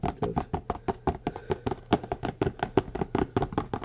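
A small blue printed cardboard box, hollow or partly filled and held in one hand, is tapped quickly on its faces with the fingertips. About two dozen short, dull, hollow taps come in an uneven fast rhythm, each dying away almost instantly, with a low papery thump centered around 380 Hz.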